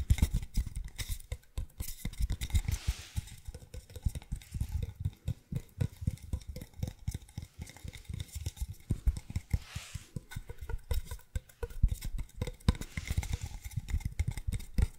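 Fingernails tap and scratch on a long, hollow, empty brown cardboard tube as it is moved in front of the microphone. The result is a dense stream of quick, dull, low-heavy thumps that die away almost instantly. Soft airy scratching swells come through at a few points.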